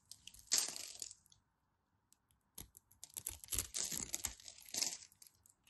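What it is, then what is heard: Bar of soap being carved. A utility knife scrapes and slices into the scored surface of a solid white bar of soap. A long, bright, crisp scrape opens the clip, then after a short pause comes a run of crackly, crunchy cuts and shavings, with almost no low end.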